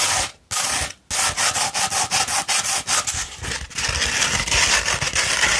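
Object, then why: Rolled sandpaper sheet. Long red fingernails scratch up and down a rolled tube of 240-grit sandpaper, making a dry, bright, gritty rasping. Short strokes come in a quick, uneven rhythm after two brief pauses near the start, then blur into a steadier scratching toward the end.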